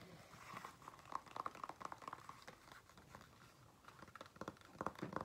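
Fingernails scratch and tap on the outer side of a single hollow black leather flat shoe held up in the air. Quiet, dry scratching mixes with rapid light taps, each with a brief hollow tone around 1 kHz. The taps come in irregular bursts that cluster near the start and the end.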